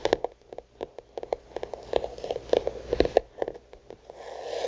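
Long nails tap the illustrated card cover of a thick paper-covered notebook, making around twenty short, dry taps with a muted mid-range tone and almost no ring. A softer, continuous brushing sound swells near the end.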